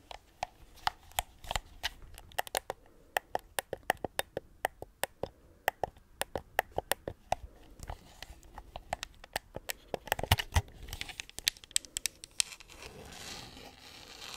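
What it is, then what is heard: Plastic game controller. Long nails tap and scratch across a white plastic gamepad with pink buttons and a hollow shell, close to the mic. Many sharp, bright clicks come in quick irregular runs, with soft scratchy rustling between them. Near the end the taps thin out into a steadier scraping hiss.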